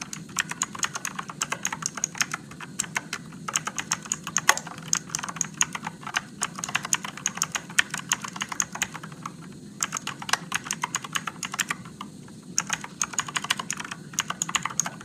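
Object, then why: Mechanical keyboard with plastic keycaps. Fingertips type slowly on an RGB-backlit Motospeed mechanical keyboard with blue switches and plastic keycaps. Crisp, bright clicks and clacks follow one another in an uneven stream, each dying away almost at once over a faint steady low hum. Typing pauses briefly near the middle and again before the last few seconds.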